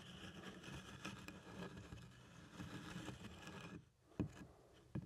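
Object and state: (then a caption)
Leather doctor's bag. Two small plastic toy hands tap and rub across the front panel of a large, hollow black pebbled-leather doctor's bag with a handle and clasp. A steady, soft, low scratchy rustle of quick light taps runs for almost four seconds, then briefly goes quiet. Two distinct, sharper knocks with a dull low thud follow.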